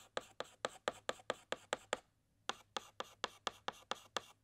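A white chalk stick makes short repeated hatching strokes inside the letter S on a large flat black chalkboard. Seventeen quick dry scratches are heard, nine in a steady run, then a brief pause, then eight more. Each scratch is bright and raspy, with almost no low end and no ring after it.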